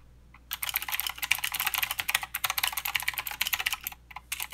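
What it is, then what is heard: Mechanical keyboard with plastic keycaps. Fingertip typing with both hands on a mechanical keyboard with plastic keycaps and clicky blue switches. After a brief quiet start, a fast, continuous run of sharp, bright clicks and clacks follows, with very short decays, a short pause midway, and a couple of final keystrokes after a gap near the end.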